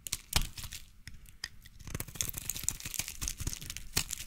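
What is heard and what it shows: A utility knife blade scrapes and shaves thin curls off a solid light blue bar of soap with an embossed logo, held in one hand. The result is a dense run of dry, crackly tearing scrapes with bright, hissy edges and soft low thumps. Sharper cuts stand out near the start and again toward the end.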